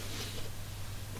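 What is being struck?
Nothing is struck.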